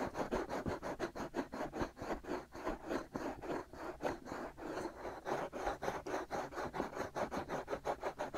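Fingertips and short nails scratch and rub the soft, hollow-shaped white silicone ears on both sides of a black binaural microphone body. About 25 quick, evenly paced strokes make a dry, raspy scratching rhythm centered in the midrange, with little low end. Each stroke cuts off almost at once.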